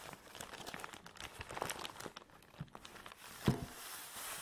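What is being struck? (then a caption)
Nylon drawstring bag holding a folded tripod. Fingertips and long nails scratch and rub the fabric of a long black nylon drawstring bag holding a folded tripod, which lies on a table. Quick, soft crinkling and scratchy rustles run throughout, with one sharper, louder scrape near the end before a brighter, steady rubbing hiss.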